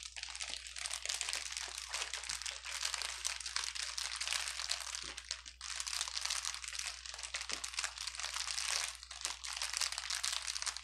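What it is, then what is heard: Plastic bubble wrap being crumpled. A bundle of clear plastic air-bubble wrap with hollow, empty air cells, lying on a grey table, is squeezed, crumpled and rubbed with the fingertips and palm of one hand. It makes a dense, continuous, bright crinkling and crackling with many quick snaps, easing briefly midway before building again. A faint steady low hum runs underneath.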